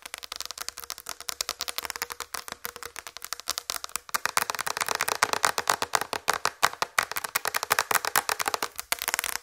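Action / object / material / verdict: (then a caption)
tap / flat plastic tray tapped with fingernails / plastic / none. Long red fingernails tap rapidly across the surface of a large, flat white plastic tray. The result is a dense stream of short, dry clicks with almost no ring, mostly midrange with a bright edge. The tapping grows louder and busier after the first few seconds.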